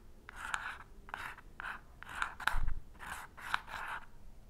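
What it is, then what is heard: Matchbox striker strip scraped by a match head. An unlit wooden match head, held in the fingertips, is scratched repeatedly across the purple, sandpaper-like striker strip on the side of a small cardboard matchbox. Each stroke makes a short, dry, raspy scrape centered in the mid range, with a soft hiss over a low rumble. The match never catches, and no flame follows.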